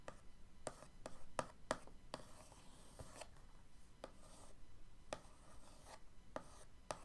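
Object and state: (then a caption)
Cardboard paint box. The end of an orange paintbrush is traced in patterns across the lid of a closed, printed cardboard box of acrylic paint tubes lying flat on a dark wood table. It makes soft, dry scratching and rubbing strokes, punctuated by short, sharp taps and clicks with a midrange tone near 625 Hz. Each tap dies away almost at once, leaving a quiet, papery rasp between them.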